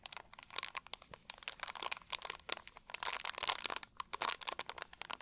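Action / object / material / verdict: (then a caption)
scrape / thin plastic drink bottle / plastic / none. An empty, hollow, clear plastic drink bottle is squeezed and crinkled with both hands and fingertips. It makes a rapid, uneven stream of sharp, bright crackles and crunches with almost no low end. Each snap dies away instantly.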